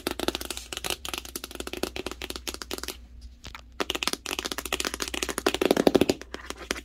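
Fingertips and long nails rapidly tap and rub the surface of a large, hollow corrugated cardboard TV box printed with the Hisense Roku TV logo. The result is a steady stream of short, dry, crackling taps with a bright papery edge and a hollow mid-range tone. The tapping pauses briefly near the middle, then returns slightly louder.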